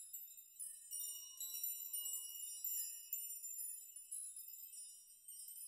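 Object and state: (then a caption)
Metal nail chime. A metal nail chime, with many thin metal rods or nails hanging on both sides, is brushed and rocked with both hands so the rods strike each other. This gives a quiet, bright, high jingling and tinkling, heard as irregular bursts of shimmering clinks. Each burst rings briefly and fades before the next stroke, with no low end at all.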